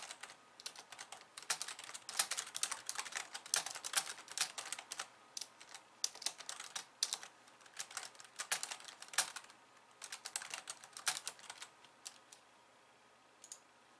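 Long painted nails type on a pink low-profile plastic computer keyboard with white keys resting on a wooden desk. Quick, bright, dry clicks and clacks come in bursts with short pauses, then thin out toward the end.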